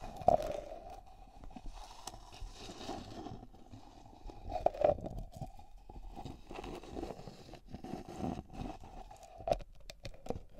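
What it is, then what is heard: Plastic cosmetic jar. Long nails scratch and tap the side of a closed, medium white plastic cream jar with a blue screw lid, held in the hand. A steady scraping rustle carries a hollow tone around 700 Hz, broken by a few sharper, louder taps that die away at once.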